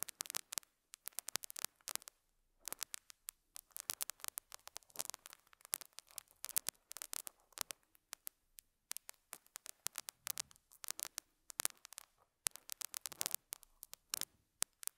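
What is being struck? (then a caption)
Felt pad on a microphone, picked with a metal hook. A metal dental scaler hook scratches and picks at a small square beige felt pad fitted on a lapel mic. The result is a quiet, dense run of bright, crackly scratches and sharp clicks with almost no low end, coming in uneven bursts with brief gaps between them.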